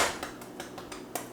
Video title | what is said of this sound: EVERYTHING you need to know about making sourdough at home | if you tap your bread and it sounds hollow, it's done.